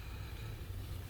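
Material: Nothing is struck.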